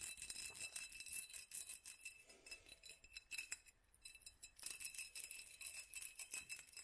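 A small hollow glass mason jar, its lower half wrapped in a black studded sleeve, is held in the hand and tapped with long pink nails on both the clear glass and the studs. The result is a quick, dense run of bright, clicky taps with a faint glassy ring around 2.6 kHz that dies away almost at once. There is almost no low end, and the run pauses briefly before resuming.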